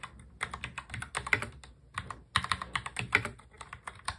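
Fingertips type on a full-size black mechanical keyboard with plastic keycaps, producing quick, uneven bursts of sharp, bright clicks with short, dry decays. Around the two-second mark the keystrokes thin out briefly as one hand reaches across the board, then the steady clacking resumes.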